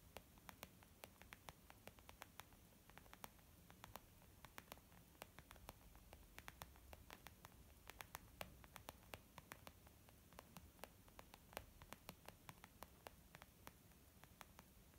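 Long nails and fingertips tap a small white textured leather zip makeup bag lying flat, which sounds soft and hollow. Quick, irregular tapping gives dozens of sharp, bright clicks that die away almost instantly, over a faint, steady low hiss.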